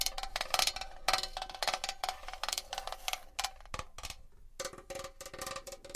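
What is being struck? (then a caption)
Metal box. A metal box is tapped and scratched with fingernails, giving quick, bright, short-ringing clicks and taps in an uneven rhythm with a faint metallic ring. Scratchy bursts mix between the taps.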